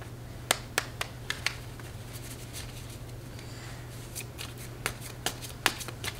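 A coated paper playing card deck with blue patterned backs is held in both hands, riffle-shuffled and squared by fingertips with long red nails. Sharp, bright card snaps and a repeated papery flutter come in two bursts, separated by a softer middle stretch, all over a steady low hum.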